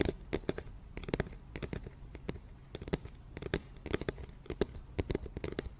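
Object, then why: Round cardboard box. An empty, medium-size, round white cardboard flower box with a printed label is held up beside the microphone and tapped with fingertips and nails. A rapid, uneven series of light, dry taps and scratchy clicks is heard, each dying away almost at once, over a soft hollow low thump with a faint tone near 360 Hz.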